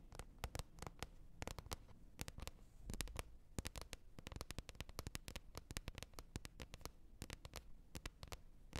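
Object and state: Plastic container lid.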